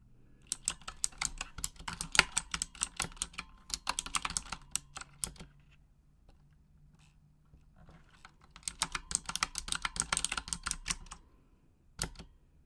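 Long acrylic nails tap the plastic keycaps of a full-size pink Razer Huntsman mechanical gaming keyboard with RGB backlighting, in a typing motion. Quick, bright, clicky keystrokes come in two busy bursts separated by a quiet pause, then a last few taps near the end, with a faint low hum underneath.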